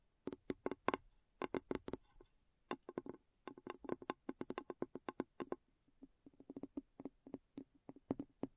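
Light taps on a glass bowl make quick, clinking strikes in bursts with short pauses between them. Each tap is sharp and bright with a slight ring that dies away almost at once, leaving a soft, dry tapping texture.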